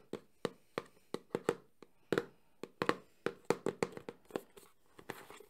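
A small, closed, hollow cardboard Samsung phone box is tapped quickly with fingertips and nails on its front and edges. About seventeen short, dry, hollow knocks fall in an uneven rhythm, each with a mid-pitched papery body near 470 Hz and a bright click that dies away almost at once.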